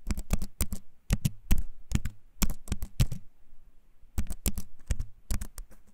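A compact keyboard with a wooden frame and plastic keys is held up close and typed on with fingertips, giving clicky keycaps. Quick bursts of crisp taps carry a bright click on top of a deep, muffled thump. A short pause falls in the middle before the typing resumes.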